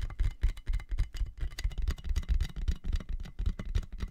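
Fingertips and nails tap rapidly and irregularly on a clear, inflated plastic air-column cushion bag with hollow tubes, held in both hands over the mic. Each tap gives a short, hollow, low thump with a bright plastic click on top. The taps die away almost at once.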